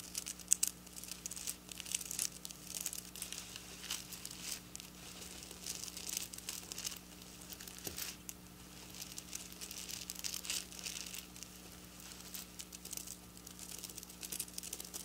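Long black nails scratch and tap across the rows of silver plastic sequin fabric lying on a granite counter. The result is a quiet, bright, crinkly scratching with many quick ticks and a faint steady low hum underneath.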